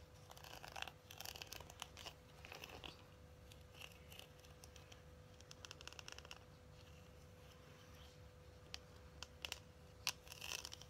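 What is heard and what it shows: Long acrylic nails tap and scratch the surface of a closed, hand-sized, flat holographic Lunar Beauty eyeshadow palette with a cardboard case. Quiet, bright clicks and dry scratchy rustles come in irregular bursts, each dying away almost instantly. A steady low hum and a faint constant tone run underneath.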